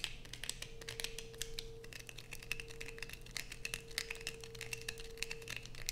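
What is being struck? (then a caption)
Bar of soap. Long nails scrape along the edge of a light-blue bar of soap held close, peeling off thin curls. Dense, quick, bright scratching clicks follow one another over a faint, steady low hum and a thin sustained tone.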